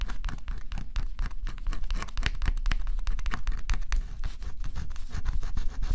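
A stylus held in the fingertips scratches a flat, thin, black-coated cardboard scratch-off jigsaw puzzle. A dense, steady run of quick, dry scratching strokes, each a brief bright rasp over a low, continuous rumble.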